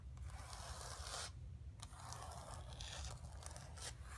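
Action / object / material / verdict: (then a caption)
scrape / painted canvas board scratched by fingernails / painted canvas / none. Long pink nails scratch the painted surface of a flat painted canvas board resting on carpet. Bright, rasping scrape strokes come in bursts, with a short pause in the scratching near the middle, over a steady low hum.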